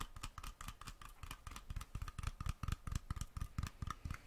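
Fingertips and nails tap the screw-on metal lid and rim of a small glass mason jar filled with something dark and glittery, held in one hand close to the microphone. The taps come quickly and unevenly, each a short, dull, low knock with a faint metallic ping above it.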